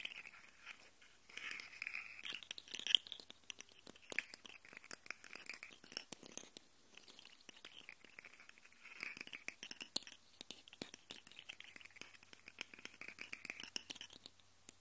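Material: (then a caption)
Plastic. Fingernails scratch and tap the ridged segments of a small, hollow, segmented rainbow plastic slug fidget toy held vertically, and the segments click as they move. The result is a quiet, continuous stream of dry, bright crackling clicks and scrapes centered around 3 kHz, with almost no low end and no ringing after each tick.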